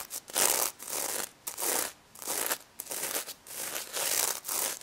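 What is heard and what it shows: Fingernails brush and rub across the plastic reversible sequins covering a pink stuffed pig toy, flipping them over. It makes a series of bright, crinkly scratching strokes with short pauses between them. The sound sits almost entirely in the high range and has no low end.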